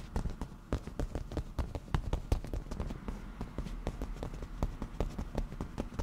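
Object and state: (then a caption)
Leather cushion. Black-painted nail tips tap quickly on a padded black leather cushion with a grained surface. The result is a rapid, uneven stream of short, dry, muffled taps, mostly low and thuddy with very little brightness.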